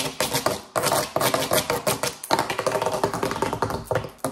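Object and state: Rubber mesh mat.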